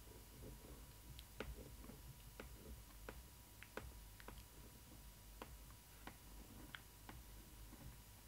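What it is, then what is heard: Cardboard doll box. Long nails tap and scratch across the glossy panel of a large, hollow printed cardboard doll box with "Stitch" lettering. About eleven short, crisp clicks stand out over a soft, steady scratching bed.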